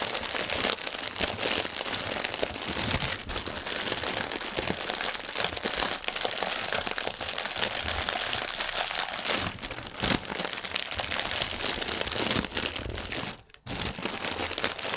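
One hand grips and twists a clear plastic air-pillow strip of air cushion packaging film while the other hand's fingers scrunch it. The result is a dense, continuous, bright crinkling and crackling with little low end. A brief quiet gap comes near the end before the crinkling resumes.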